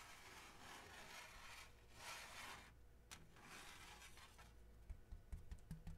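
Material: Cardboard.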